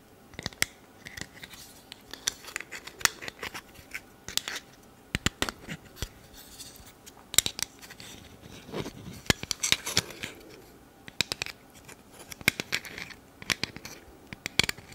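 A small round black plastic camera lens cap is held close to the mic while long red nails squeeze its spring clips and scratch its surface. The result is a steady run of sharp, bright clicks with very short decay, mixed with quieter scratching between them.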